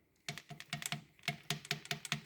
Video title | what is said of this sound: NC Fairlane EB Falcon V8, coolant and vacuum leak from under the inlet manifold and PCV issue | if you shake it up and down it rattles it's all right it's working